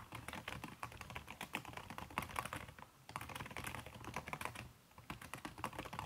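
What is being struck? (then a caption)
Laptop keyboard with silicone key cover. Fast typing with fingertips and long red-painted nails on a backlit aluminium laptop keyboard whose plastic keys are covered by a red silicone skin. Quick, soft, muffled clicks stream densely, with brief pauses near 3 and 5 seconds.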